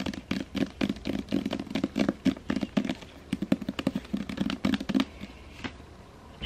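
Long painted fingernails tap and scratch the front cover of a solid, hand-sized hardcover novel, *The Seven Husbands of Evelyn Hugo*, in a glossy paper dust jacket held in both hands. Rapid, irregular clusters of short, dull taps with a low hollow body mix with light scratching. The sound thins out to a quiet hush in the last second.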